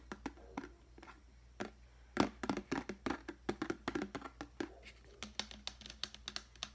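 A large, clear, hollow and empty plastic deli container, held on its side, is tapped with the fingertips. It gives a quick, irregular run of short, hollow plastic taps and clicks that die away almost at once, with a low-mid body and some brighter clicks. A few soft, scattered taps come first, then denser bursts follow.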